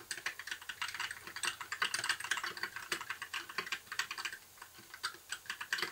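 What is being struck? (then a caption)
Plastic mechanical keyboard. A compact white mechanical keyboard with plastic keycaps, blue backlight and a hollow case is typed on continuously with the fingertips of both hands. Rapid, short, bright plastic clacks overlap in an uneven stream, each dying away almost at once, with a brief lighter patch before the typing picks up again.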